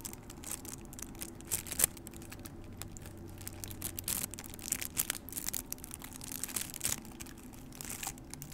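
A small, white, printed paper cup, hollow and apparently empty, is held close up while long nails scratch, tap and squeeze it. This makes a stream of quick, bright crinkles and crisp clicks with no ring, over a faint, steady low hum.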